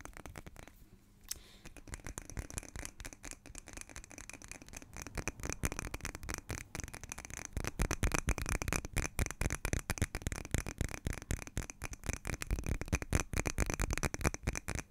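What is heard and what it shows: A small green glass jar, likely a candle, hollow and seemingly filled with wax, is held close to the microphone and tapped and scratched with long nails. Rapid, irregular clicks and scratchy rubbing run throughout, dense and crisp with a short dry ring. The sound grows louder and busier partway through.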